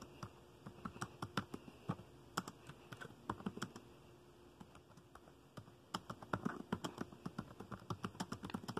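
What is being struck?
Plastic laptop keyboard.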